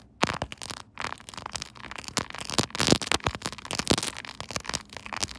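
Fast tapping and scratching with long nails on a silver, chrome-finish quilted plastic phone case fitted on a smartphone held in a tripod holder. The result is a dense run of sharp, bright clicks and crackly scrapes, each dying away almost instantly, with short gaps between bursts.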